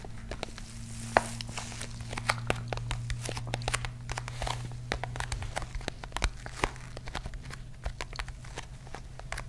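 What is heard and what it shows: Long pink nails scratch and tap a small, palm-sized, dark grey hollow hard-shell case with a textured woven fabric-covered surface. Rapid, dry clicks and scratchy rustles follow one another closely over a steady low hum, with short, crisp taps that die away almost at once.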